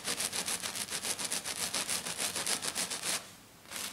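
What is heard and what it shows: Long dark nails of both hands scratch rapidly across a flat silver glitter sheet, probably glitter foam. A fast, steady rhythm of bright, hissy scratching strokes runs for about three seconds, drops to a brief near-silence, then resumes just before the end.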